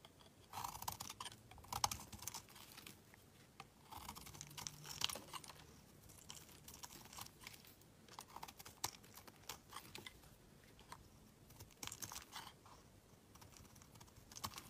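A solid black bar of soap, held in the hand, is shaved with a utility knife blade so that curls of soap peel off. Quiet, crisp scraping and crackling strokes come in bursts, bright and dry with almost no ring.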